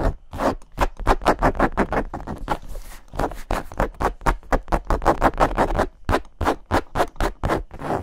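Long nails rapidly scratch and rub a medium black hard-shell zippered case covered in textured leatherette, held close to the mics. A fast, uneven run of short, dry scraping strokes has a hollow mid-range body and a low thump beneath. Each stroke dies away almost instantly, with brief pauses between bursts.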